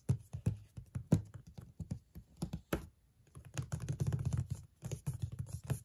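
Long nails tap the flat lid of a large, closed, white printed cardboard box for a Darling Lamp. Quick, dull, low thuds come in uneven bursts, like typing on a keyboard. A brief pause near the middle gives way to a faster, denser flurry of taps.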